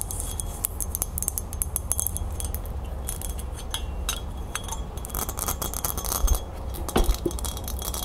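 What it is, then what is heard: Metal crown. A small, hollow, silver-toned metal crown is held in the hands and rapidly tapped and scratched with long nails on its band and base. Dense, bright clicks and short metallic clinks ride over a steady low rumble, with a few louder taps near the end.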